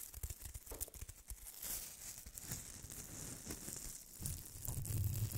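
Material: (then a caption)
Styrofoam. Fingernails scratch and rub the surface of two white styrofoam-ball snowman ornaments held close to the microphone. Rapid, irregular strokes make dry, crinkly tearing and squeaking scrapes over a low, muffled rumble with a bright hiss on top. The sound stays continuous and grows slightly louder toward the end.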